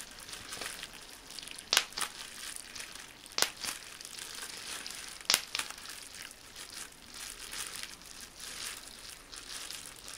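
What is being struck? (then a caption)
Plastic bubble wrap. A bunched sheet of clear plastic bubble wrap with small air bubbles crinkles steadily while fingertips pinch it and pop bubbles. Several sharp, bright pops stand out from the continuous high rustling.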